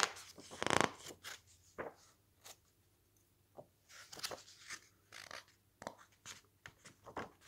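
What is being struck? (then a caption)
Coated paper book pages. Fingertips grip and flip the thick, glossy coated pages of a large softcover cookbook lying open on a stack of magazines, squeezing and rustling the sheets. The result is a series of short, crisp, bright crinkles and swishes, with one louder crackling burst near the start and softer rustles between them.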